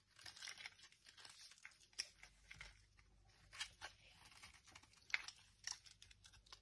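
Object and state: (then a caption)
Dry bar soap scraped into shavings. A dry, solid blue marbled oval bar of Dettol soap, held in hand, is scraped with a metal knife, shaving off crisp flakes that pile on the table. Quiet, bright, crunchy scraping and crinkling bursts come irregularly, with a few sharper cracks standing out.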